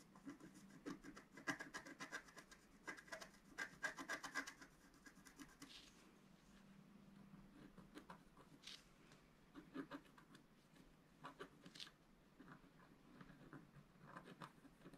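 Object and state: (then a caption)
Scratch-art card being scraped. A wooden scratch stylus scrapes the black coating off a flat, roughly A4 scratch-art paper sheet lying on a table and held down by one hand, revealing the colour underneath. Quick, dry, rasping scratch strokes come in dense, irregular bursts, loudest and busiest in the first few seconds before settling into softer, scattered scrapes with bright edges.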